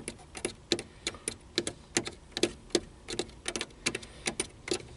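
Fingertips tap the small push buttons on a black plastic car stereo faceplate set in a hollow console unit. A rapid, uneven series of short, dry clicks rings out, each with a bright top and a hollow mid-range knock that dies away almost instantly.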